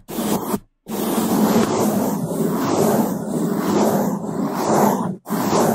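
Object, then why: Foam microphone windscreen scrubbed with toothbrushes. Bamboo toothbrushes held in gloved hands scrub fast across the top and left side of a black foam microphone windscreen. The result is a loud, dense, muffled bristle scratching in three bursts separated by two brief silences, with most energy low and little brightness.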